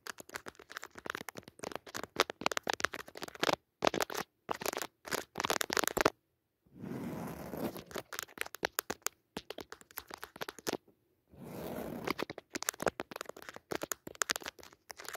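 Four long natural nails dig into and scratch the textured weave of a soft, padded woven jacquard fabric cushion with a red leaf pattern. Rapid, dry scratching and tapping bursts, bright and crackly, alternate with two longer continuous rubbing scrapes. The sounds are quiet, with short breaks between passages.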